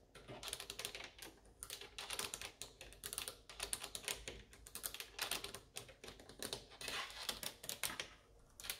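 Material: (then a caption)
Plastic. Long orange acrylic nails and fingertips tap and click on the front control panel of a Saeco coffee machine, a solid housing of black glossy plastic with buttons. The result is a rapid, continuous stream of bright, dry clicks, each dying out almost instantly, with little low-end weight and short pauses between bursts.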